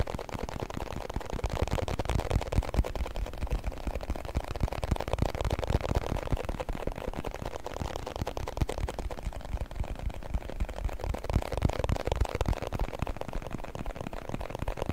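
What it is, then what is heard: Plastic food container tapped and scratched. A small, round, clear plastic food container with a blue plastic lid, hollow and partly filled with small orbeez beads, is held in both hands and tapped and scratched with fingertips and nails on the lid and sides. The result is a steady, dense stream of quick, dry taps and scratchy rustles with a hollow, low thump beneath. Each sound dies away almost instantly.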